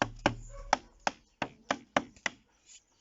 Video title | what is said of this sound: SUIVI ABRI EN PALETTE 2 ANS APRES | si ça sonne creux ou pas. ... donc écoutez, voilà, on voit qu'il est très sain